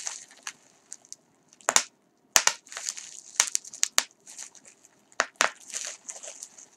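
A gathered piece of clear plastic bubble wrap is pinched and twisted between fingers and fingertips over a larger sheet below, popping the air-filled bubbles. Sharp, bright pops burst out irregularly between stretches of soft, hissy crinkling of the sheet, with quiet gaps in between.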